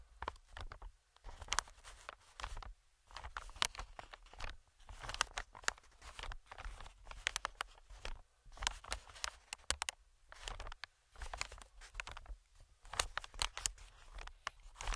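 Fingertips tap and scratch an inflated, medium-sized green plastic-film air cushion, producing quiet bursts of dry, bright crinkling and crackling clicks. Short pauses separate the bursts, and a faint low hum runs steadily underneath.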